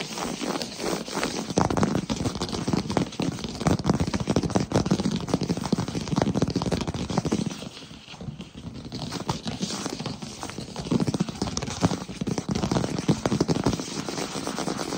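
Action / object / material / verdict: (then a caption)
tap / wood-look plank floor / wood / none. Fingertips and short nails tap and lightly scratch a solid wood-look plank floor in quick succession. The dense, dry taps have a dull low-mid body and short crackly scratches, easing briefly to a quieter stretch around the middle before picking back up to the same rapid pace.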